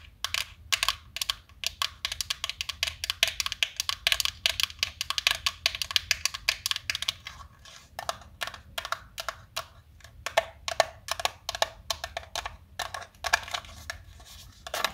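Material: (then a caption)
Plastic. A small black plastic tub full of colored chalk sticks is held in both hands while long nails tap the tub and it is shaken so the chalk rattles inside. The result is a dense run of quick, dry, bright clicks and taps with almost no low end, each dying away instantly. The rattling comes in rapid clusters with brief pauses between bursts.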